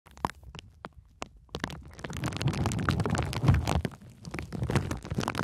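A sheet of clear plastic bubble wrap with air-filled bubbles is wrapped around the microphone while long nails and fingertips press and scratch the bubbles. A few sharp, separate clicks and taps in the first second and a half give way to dense, continuous crinkling and scratching with a heavy, muffled low rumble. The scratching eases briefly near the four-second mark, then picks up again.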